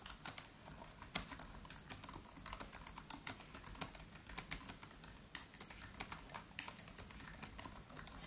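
Fingertips of both hands type rapidly on the black plastic keys of a MacBook Pro laptop with an aluminium body. The result is a steady stream of quick, bright clicks and taps with very short decay and little low-end.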